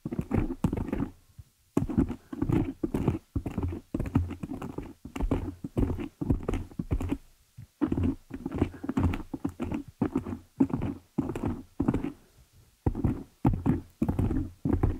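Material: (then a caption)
Foam. Long nail tips tap and scratch the top of a black foam windscreen on a desktop microphone. Rapid clusters of muffled, low, thumpy taps mix with soft scratchy brushing, broken by brief pauses. Each hit dies away almost instantly, with little bright content.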